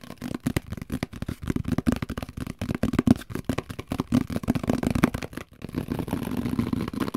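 A large translucent plastic microwave plate cover, a hollow, empty dome lid with vent slots and a top handle, is held in both hands and tapped and scratched with fingertips and nails. Rapid, dry, hollow taps with a low resonance around 240 Hz fill the first five seconds, then after a brief pause the sound turns to steadier, continuous scratching.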